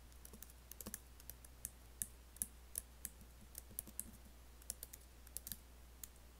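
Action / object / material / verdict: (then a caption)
tap / laptop keyboard with plastic keys and metal body / plastic / none. Fingertips type and fingernails tap on the black plastic keys and space bar of an Apple laptop keyboard with an aluminium body. An irregular run of quiet, short, bright clicks and taps sits over a steady low hum.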